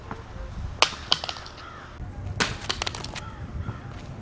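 A Joyetech Cuboid Pro vape mod with a glass screen is dropped face down from higher up. It lands with sharp, bright cracking impacts and a short rattle of further knocks. The glass screen cracks at the corner, with a crack running across it.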